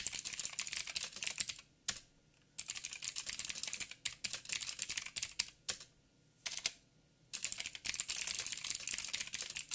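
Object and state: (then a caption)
Mechanical keyboard with plastic keycaps. Fingertips of both hands type rapidly on a backlit mechanical keyboard with black plastic keycaps on a silver frame and a hollow housing. Bright, crisp clicks come in fast bursts, with two brief pauses around 2 and 7 seconds. Each keystroke is sharp and dies away almost instantly, with very little low end.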